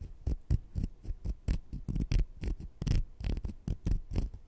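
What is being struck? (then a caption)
Sugar-coated jelly fruit-slice candies. Two small, solid, sugar-coated jelly fruit-slice candies are held in the fingertips, and one is scratched against the other. The result is a quick series of soft, dull scratching taps with a low thud body and faint bright grainy edges. The taps come in an uneven rhythm.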